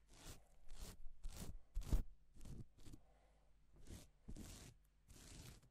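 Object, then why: Plastic sequin fabric. A gloved hand rubs and sweeps across a flat, reversible pink and silver plastic sequin fabric sheet. A series of separate, quiet, brushing swishes follows, each a bright, crisp rustle that stops quickly, with a faint low hum underneath.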